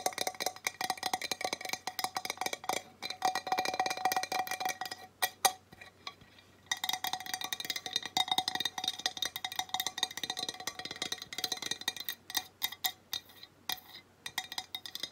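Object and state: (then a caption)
Ceramic tile sign. Long nails tap rapidly on a glazed ceramic tile plaque bearing a mountain greeting, held upright and then angled. The result is a dense stream of short, dry clicks with a faint ringing tone near 750 Hz and bright upper overtones. The taps pause briefly around the six-second mark before resuming at the same brisk pace.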